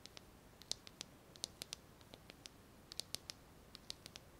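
A small pink translucent plastic lighter is held in the fingers and tapped and scratched with long nails. About 21 quiet, sharp, bright clicks and ticks come at an uneven pace, each dying away almost instantly against a low hiss.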